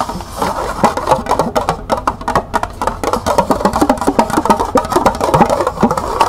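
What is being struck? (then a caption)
Small plastic cup. A small, hollow, empty green plastic cup is held in the hands while long nails rapidly tap and scratch its sides. The result is a dense stream of quick, hollow clicks with a bright midrange tone around 900 Hz that die away almost at once, mixed with a dry scratching texture.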